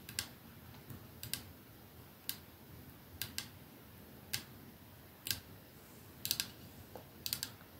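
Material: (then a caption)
Glass. A capsule-shaped perfume bottle with clear glass ends and a silver middle band rests on a dark surface while fingernails slowly tap the glass end and the metal band. Thirteen short, bright clicks come at an uneven pace, some in quick pairs, each dying away almost instantly over a quiet background hiss.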